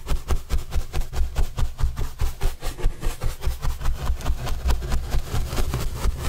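A paintbrush rubs over a large white printed corrugated cardboard box panel held upright. It makes a steady run of rhythmic brushing strokes, about two per second. Each stroke is a short bright swish over a heavy low rumble.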